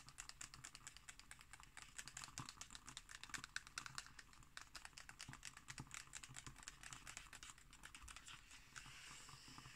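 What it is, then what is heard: Glossy magazine page tapped and scratched with nails. Long nails tap quickly and scratch on an illustration on an open magazine's glossy paper page. Rapid, dry, bright clicks patter continuously with almost no ring. Toward the end they blur into a smoother, steadier scratching hiss.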